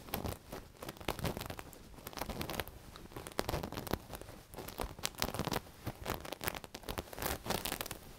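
Long nails scratch and rub across a soft black knitted cushion with a sequined owl-cat appliqué, moving over both the sequins and the knit. It makes a dense run of crinkly, crackling scratches and rustles, with bright sharp clicks where the nails catch the sequins and softer brushing between bursts.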